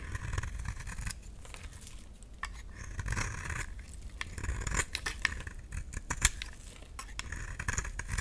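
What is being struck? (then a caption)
Round bar of soap scraped with a blade. A solid, round, dry pink bar of soap is scraped with a utility knife blade, piling up fluffy shavings. The clip is a steady run of short, dry scraping strokes with a bright, crisp rasp over a low rumble, with a few sharper clicks standing out.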